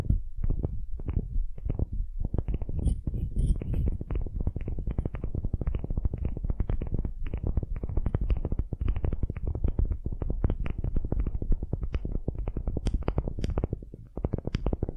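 Long nails scratch the end grain face of a solid, light wooden cube, making a dense, rapid run of dry scratching strokes with a dull, low-heavy tone. The strokes keep up nearly without pause, with a few brighter ticks near the end.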